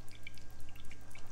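A whole coconut with a hole already dug in it is shaken, and the water inside sloshes in six quick, soft splashes over a low steady hum. The coconut is full of water.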